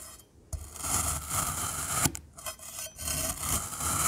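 A rainbow metal knife cuts into and crumbles solid black glittery kinetic sand cylinders. The slices make close, bright rasping scrapes with soft low thuds, rising and falling in strokes that briefly quiet between cuts.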